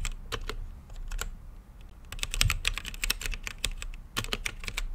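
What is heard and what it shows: Fingertips type on a mechanical keyboard with plastic keycaps and a translucent lit case. Quick, bright clacks come in uneven bursts, sparse at first and then a dense flurry, over a low rumble. Each click is sharp and dies away almost at once.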